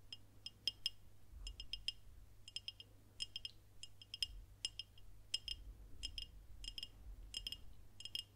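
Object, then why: Glass bottle tapped with fingernails. Long nails tap a dark glass beer bottle with a label, held horizontally close to the mic. Quick clusters of light, bright clicks ring briefly around 3.2 kHz, over a steady low hum.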